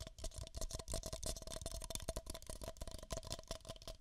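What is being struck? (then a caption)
Empty paper cups. Two identical empty beige paper cups, hollow, are tapped with fingertips and nails over the microphone ears. Rapid, quiet, continuous tapping gives hollow knocks with a steady tone near 650 Hz and bright, clicky nail edges that die away almost instantly.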